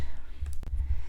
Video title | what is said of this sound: Snow Globe Tumblers 101 | you can still hear as i'm shaking it there's pieces of acrylic that got inside the tumbler